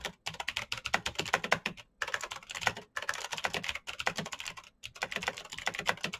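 Fingertips of both hands type fast on a black plastic full-size Razer BlackWidow mechanical keyboard with clicky green switches, RGB backlight and a hollow case, resting on a desk mat. Bursts of rapid, bright, crisp clicks die away almost instantly, broken by short pauses between runs of typing.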